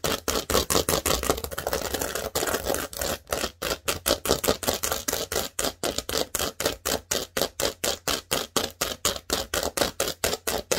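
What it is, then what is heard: Plastic Lego baseplate. Long nails scratch across the studs of a large, thin, green plastic Lego baseplate, producing a rapid, rhythmic run of crisp, bright clicking scrapes. The strokes blur together at first, then settle into evenly spaced bursts with short gaps between them. There is little low end and almost no ring after each stroke.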